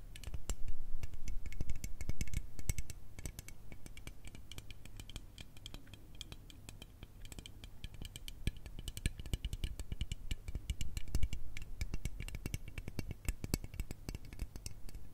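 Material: Aluminium.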